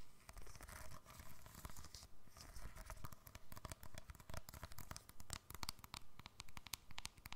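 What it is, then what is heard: Plastic keypad mobile phone. A small, hollow silver keypad cell phone with a plastic casing is held upright close to the microphone and tapped and scratched with long fingernails. Quiet, rapid, fairly steady clicky taps with sharp, bright edges mix with a dry, scratchy rustle. Each tap dies away instantly, over a soft, low, hollow thump.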